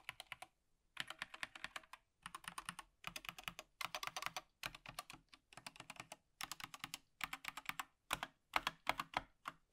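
A gloved hand types with its fingertips on an Apex Pro TKL (2023) wired plastic mechanical gaming keyboard with plastic keycaps, lying flat, pressing the main keys and the arrow cluster. Quick bursts of bright, clicky key-press taps come in uneven clusters separated by short pauses. Each tap is crisp and dies away almost instantly.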